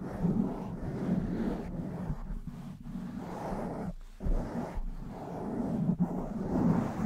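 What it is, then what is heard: Foam microphone windscreen being scratched. A blue, soft, porous foam windscreen on a black desktop microphone is rubbed and scratched all over by long white-tipped nails and the fingertips of both hands. The result is a continuous low, rumbling, muffled scraping and brushing with swelling pulses and a few brief dropouts.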